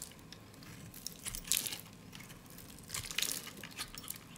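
A solid, dry peach soap bar is carved and shaved with a utility blade, with thin crunchy slices coming off. Bright, crisp crunching and scraping rise in two louder bursts over a soft, steady hiss.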